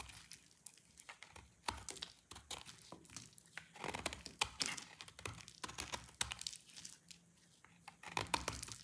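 A palm-sized solid bar of dry orange soap, held in the hand, is scraped and cut with a snap-off utility blade, and flakes fall onto a wooden board. Dense, bright, dry crunching and crinkling scrapes come in quick bursts with short, sharp clicks between them and almost no ring.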